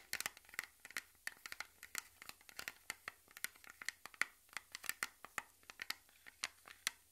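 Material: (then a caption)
Thin metal. A small, round, blue metal lotion tin, closed and gripped in both hands, is scratched and tapped along its lid and sides with fingernails. The result is a quiet, rapid, irregular stream of sharp, bright clicks and scrapes centered around 2 kHz, each dying away almost instantly, with no low-end body.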